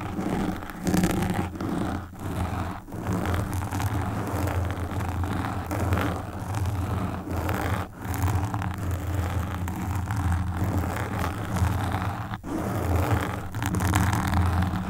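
Long pink nails scratch the sides and then the front of a black foam windscreen on a desktop microphone. The sound is a steady, dense, low rumbling scratch and rustle with a few brief dips in between.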